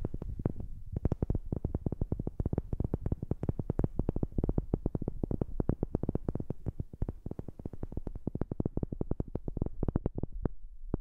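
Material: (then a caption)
Wood. A wooden object is tapped in a fast, steady stream of dry, short knocks, picked up close on a new microphone. The taps are dull and low-heavy, centered around a thud of about 86 Hz, with each one dying away almost instantly and almost no bright content.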